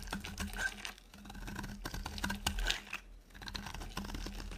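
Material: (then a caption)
Soap. A utility knife blade cuts a dry, solid yellow oval soap bar into thin strips, making dense, crisp scraping and cutting ticks with bright edges over a steady low hum. The strokes come in uneven bursts with short quieter pauses near 1 and 3 seconds, and each tick dies away almost at once.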